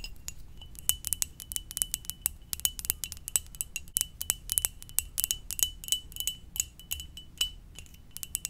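A hollow, empty red and white ceramic mug shaped like a Pokeball is held close and tapped with long dark-painted nails. The taps come as rapid, irregular bright clicks, each carrying a short high ring near 3 kHz, over a faint low rumble.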